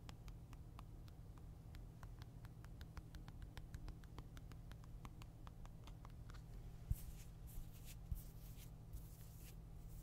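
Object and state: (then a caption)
Game console screen tapped with fingernails. Fingertips and nails tap and scratch the glossy glass screen and frame of a Nintendo Switch console held in one hand. For about six seconds, a rapid run of crisp, bright little clicks sounds over a steady low hum. Then the tapping gives way to softer, hissy scratching strokes with a few sharper knocks.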